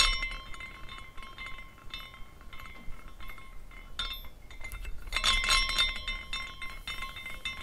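A small decorative glass carousel figurine spins after a push from the fingers, and its hanging glass horses clink against the glass parts. The result is a light, bright, irregular tinkling with short ringing tones that grows busier and louder about two-thirds of the way through, over a faint low rumble.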